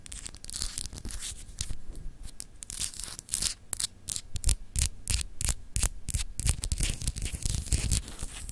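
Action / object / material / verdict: scrape / glass globe paperweight / glass / none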